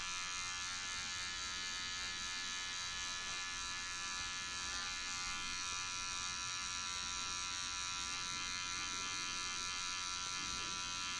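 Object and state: Nothing is struck.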